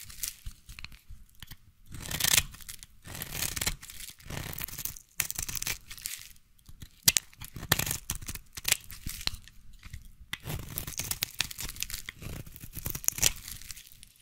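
A small blade shaves the edge of a solid striped peach bar soap, held in hand, into fine curls. The result is a series of dry, crisp scraping and crackling strokes in irregular bursts, bright and hissy with a faint low thump beneath.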